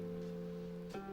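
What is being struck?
Nothing is struck.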